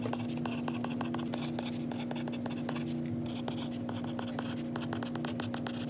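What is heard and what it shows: A white stylus tip held in the fingers writes on a glass iPad screen, making rapid light taps and dry scratches across the glass. The clicks and strokes sit over a steady low hum near 238 Hz that runs through the whole clip at an even, quiet level.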